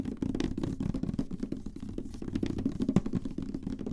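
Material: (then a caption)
Plastic. Long nails tap rapidly on a large, hollow, glossy black plastic PlayStation 3 console, first on the top and then on the vented side. The taps come as a dense patter of short, dull plastic clicks with a hollow low-mid body and almost no bright content, each dying away almost instantly.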